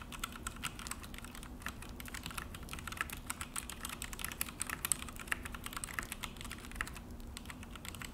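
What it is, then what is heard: Plastic mechanical keyboard being typed on. Both hands type steadily with their fingertips on a full-size Akko mechanical keyboard with an orange plastic case and black plastic HyperX keycaps, set on a desk. A quiet, continuous run of quick, dry clacks and taps fills the clip, with a bright click on top and a soft low thock beneath, each stroke dying away instantly.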